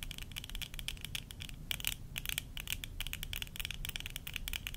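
Long nails tap and scratch the rims and temple arms near the hinges of worn plastic tortoiseshell eyeglasses. The result is a rapid, dense stream of short, dry clicks and scrapes, bright and centered around 2.9 kHz, over a steady low rumble. The clicks die away almost instantly, with occasional brighter flurries.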